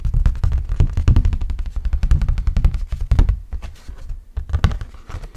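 Fingertips rub and scratch an orange hard plastic flying disc with a camel print, thin and hollow-backed. The result is a dense, uneven run of quick, dull, low thumping scrapes with very short ring, rising and falling in loudness over the clip.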